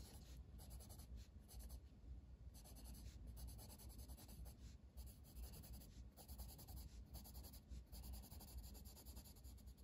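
A green wooden colored pencil is drawn across a flat paper coloring book page in long strokes, its lead rubbing the paper. The quiet, steady scratching comes in repeated bright bursts over a low, constant rumble.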